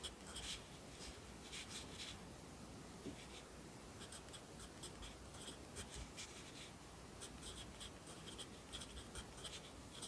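A yellow wooden graphite pencil writes on thin paper in an open lined notebook held flat by one hand while the other hand writes. Quiet, bright scratching strokes come in short bursts over a steady low background hum throughout.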